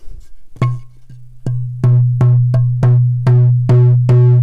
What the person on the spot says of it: This is the African Ebony.